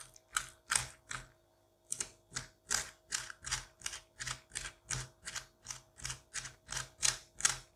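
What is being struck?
Pumpkin pulp and seeds scraped with a metal curette.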